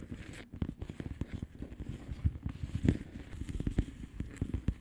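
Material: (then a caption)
Plastic. Long polished nails on both hands tap the bubbles of a flat, hollow plastic bubble-wrap mailer lying on a surface. The result is a quick, uneven patter of soft, dull taps with a faint crinkly crackle, mostly low in tone, with a few sharper clicks standing out.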